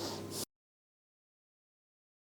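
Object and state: Nothing is struck.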